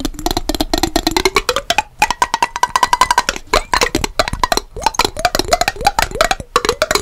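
A small clear glass mason jar with a yellow lid, partly filled with water, is held horizontally in both hands and tapped rapidly on its sides with long fingernails. The result is a fast stream of short, bright clicks over a hollow ringing tone near 1 kHz that glides up and down, with brief pauses between bursts.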